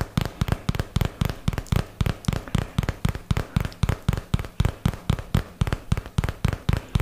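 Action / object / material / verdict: tap / paperboard product box / cardboard / none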